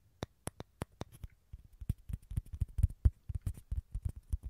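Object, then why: Halved dried gourd shell. Fingertips and nails tap and scratch rapidly on the tan shell of a small, hollow, halved dried gourd close to the mics. Short, dry, deep thumps come first as a few spaced taps with bright clicky tops, then quicken into a dense, uneven patter of soft knocks and scratches that die away almost instantly.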